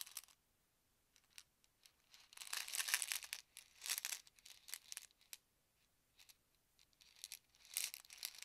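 Fingertips and short nails scratch the label of a small white plastic Advil ibuprofen bottle with a yellow cap, hollow and partly filled with tablets, as it is held in both hands, turned and lightly shaken. Quiet, dry, bright scratching and crinkling bursts come in uneven clusters separated by near-silent pauses, with almost no low end and each burst stopping almost instantly.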